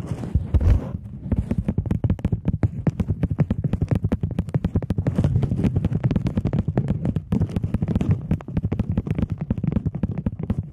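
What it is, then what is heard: Polymer banknote. A plastic polymer £20 banknote is held flat and flicked, tapped and snapped taut with long nails. Rapid, dry clicks and crisp snaps follow one another steadily, each dying away almost at once, with a dull, low-heavy body. A rustling, crackly burst near the start is louder than the rest.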